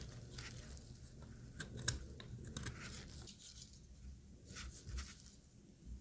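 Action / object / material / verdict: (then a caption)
scrape / bar of soap shaved with a blade / soap / none. A solid, oval, dry white soap bar is held in one hand and shaved with a utility knife blade, scraping flakes off onto a pile of soap shavings. Quiet, dry scraping and crunchy rasps come in bright, brief bursts over a low, steady rumble, with one sharper snap near the middle.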